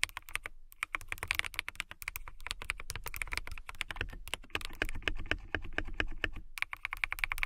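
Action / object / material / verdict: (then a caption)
tap / plastic mechanical keyboard / plastic / none. Long nails type and tap on a backlit transparent plastic mechanical keyboard with a clear acrylic case and clear plastic keycaps. A rapid run of crisp, clicky keystrokes follows, each hit dry and bright with almost no ring, over a low rumble and with a few brief pauses.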